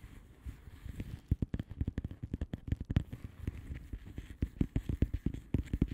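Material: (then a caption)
Plastic. Long manicured nails of both hands tap and scratch a flat blue plastic bubble wrap mailer envelope with air-filled bubbles. About 28 quick, soft, dull taps come in an uneven, busy rhythm, each dying away almost at once, with faint scratchy rustling between them.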